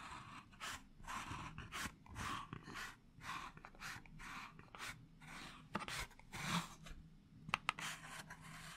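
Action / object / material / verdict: scrape / small cardboard matchbox / cardboard / none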